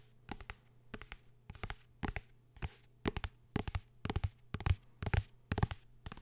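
A blue hardcover book is tapped and scratched with quick, irregular bursts of dull, short taps that have a low, thumpy body. Dry scratching sweeps up into a bright hiss, and a faint steady low hum sits underneath throughout.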